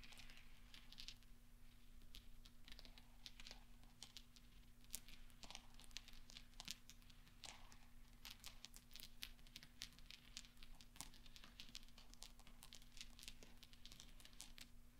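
Fingertips and nails gather and roll small solid steel pachinko balls on black velvet, making a continuous stream of soft, bright metallic clinks and light rolling clicks. The clicks are short and dry with no ring, heard over a faint steady low hum.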